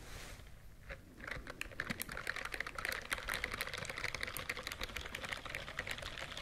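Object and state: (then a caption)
Silicone scrubbing glove. Fingertips and nails rapidly brush and scratch the bristles of a white silicone scrubbing glove held vertically close to the microphone. After a quiet, soft rustling start, a dense stream of crisp, bright clicking ticks sets in around 1.2 seconds, with a faint tonal edge near 2 kHz. The ticks continue steadily to the end.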